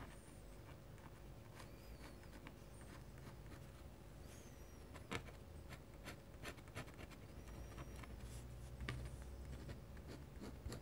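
A metal-nib dip pen scratches short hatching strokes into the lower foreground of an ink drawing on a large, flat white paper sheet on a desk. The quiet, dry scratches and rubs are broken by sharper, brief strokes. They sit over a steady low hum, with faint high chirps in the background.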